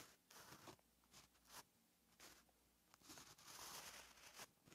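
A white gel pen held in the fingers writes on a flat, lined paper notebook page. Its tip scratches across the paper in soft, bright, papery bursts of strokes separated by brief quiet pauses.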